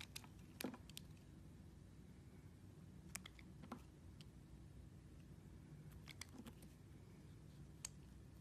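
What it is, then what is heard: Carved glycerin soap. A solid translucent red glycerin soap figure, held in the hands, is sliced and scraped with a small metal knife with a green handle, leaving thin pieces around it. Short, sharp crisp clicks and brief scraping ticks are scattered across the clip over a quiet, steady low hum.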